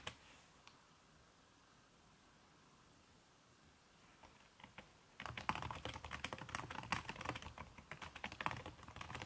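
Fingertips with long red-painted nails type on a backlit aluminium laptop keyboard whose plastic keys wear a red silicone skin. After about five seconds of near silence with a few isolated taps, fast irregular typing starts, giving dense soft clicks with a bright, short-lived tap at each keystroke.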